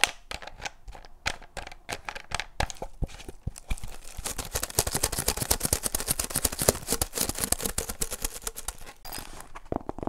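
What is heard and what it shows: Fingers twist the blue plastic screw cap on and off a clear, empty-looking PET drink bottle with a strawberry label, then grip the label area. Sharp, bright clicks from the cap threads start out spaced apart, then build into a dense, rapid crackle of tightly packed clicks. After a brief lull near the end, a few more crisp snaps follow, each dying away almost instantly.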